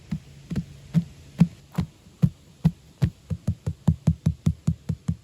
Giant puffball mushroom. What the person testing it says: It feels hollow and it sounds hollow, but it's definitely not hollow. It's very dense